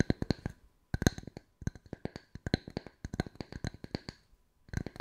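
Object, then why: Small round wooden tree slice with bark rim. Two matching small round solid wood tree slice coasters with bark rims, held one in each hand, are tapped and scratched on their pale faces with long white nails. About two dozen quick, dry wooden clicks come in rapid bursts separated by short pauses, each with a soft low knock and a bright tick that dies away almost instantly.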